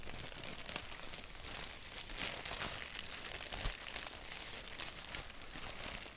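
Fingertips scratch and tap a thin white paper sheet with a black doodle print, slightly wrinkled. A steady, bright crinkling and scratching texture fills the clip, with many quick, dry taps and rustles and little low end.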